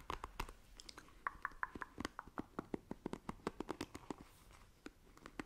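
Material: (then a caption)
Plastic. Long nails scratch across the bristles of a black plastic paddle hairbrush, making a rapid series of short, dry ticks and scratches. The clicky, bristly strokes center around 1 kHz with bright edges and die away instantly, with brief pauses between bursts.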